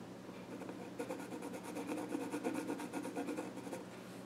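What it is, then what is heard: Pencil scratching on a wooden stool top. A pencil scratches drawing strokes across the flat top of a small wooden child's stool. After a quiet opening with a faint steady low hum, rapid, uneven scratching begins around one second in and runs to the end as a bright, dry rasp. By the close, the pencil is partly out of view.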